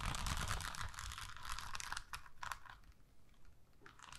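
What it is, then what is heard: Plastic rhinestone sticker sheet. A long, thin, flexible strip of pink and gold plastic rhinestone stickers on a backing sheet is held up in one hand and scratched and tapped across the gems with long nails. Dense, crinkly scratching with bright clicking taps and a low rumble fills the start, then thins into sparser, quieter taps toward the end.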